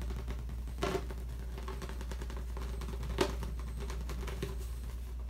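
Gloved fingertips tap and scratch quickly on a large, hollow, inflated latex balloon, making soft, dull patters and brushing scratches over a steady low hum. Two sharper taps stand out, one near the start and one about two-thirds of the way through.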